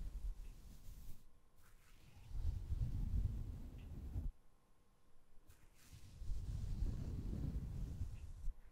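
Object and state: Nothing is struck.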